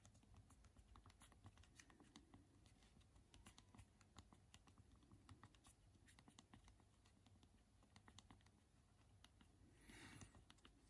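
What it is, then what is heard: Plastic phone keyboard typing. Both thumbs type on the small, hard plastic keys of a BlackBerry phone's physical keyboard, producing a steady run of quick, dry, bright clicks. The clicks sit over a low, constant background rumble, with a brief, louder, noisier burst near the end.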